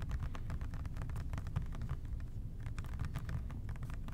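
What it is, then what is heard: Plastic spray cleaner bottle. Fingertips gently tap the labelled body of an OxiClean plastic trigger spray bottle in a quick, steady flurry. The taps are soft, dull plastic clicks over a heavy low rumble, each fading fast with no ring.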